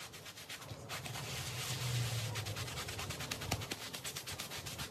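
A wet, foamy, small patterned woven rug on the floor is scrubbed with a handheld bristle brush while the other hand rests on it. Rapid, rhythmic bristly rubbing strokes produce bright, hissy scratching over a low rumble, with the scrubbing loudest in the middle of the clip.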